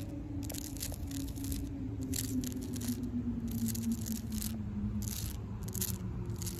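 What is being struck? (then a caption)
Tree bark scratched with fingernails. Long pink acrylic nails scratch and rake the rough bark of a solid tree trunk in repeated bursts of bright, crackly scraping. A steady low hum with a slowly falling tone runs underneath the whole time.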